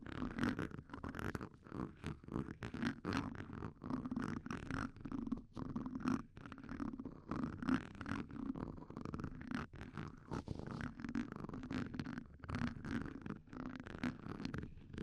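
Sharpened graphite tips of two red wooden pencils, held in blue-gloved hands, scratch and scrape across the hollow, round steel wire-mesh grille of a Shure SM58 microphone. The result is a dense, continuous run of raspy, crackling scrapes with a low, buzzing, rumble-like body. Quick swells and brief dips come in uneven bursts throughout.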